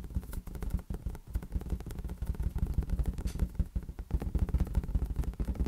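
A large, hollow, inflated green latex balloon is tapped and patted with the fingertips. It gives a rapid run of soft, deep, boomy thumps that die away almost at once, with a faint rubbery scrape between taps.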